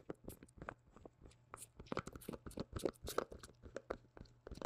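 Black-gloved fingertips tap and knock a small white plastic cream jar with a printed label and a dark lid, held close to the mic. A rapid, irregular run of short, hollow clicks and knocks, centered around 480 Hz, with brief bright ticks and a faint low hum underneath.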